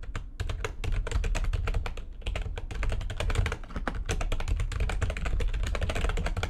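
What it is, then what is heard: Plastic computer keyboard, fast typing. Fingertips with long nails type fast on the keys of a full-size, low-profile, backlit plastic computer keyboard resting on a desk. A dense, steady stream of sharp, bright clicks and taps rides over a strong low thud. Each keystroke dies away almost at once.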